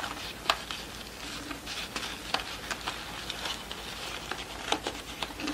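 Long nails tap and scratch across the flat cardboard center disc, printed with a horse, and the pleated satin ribbon of a yellow award rosette held up in both hands. Soft, dry taps stand out as brief bright clicks, with crisp papery scratching and faint rustles between them over a quiet, steady background hiss.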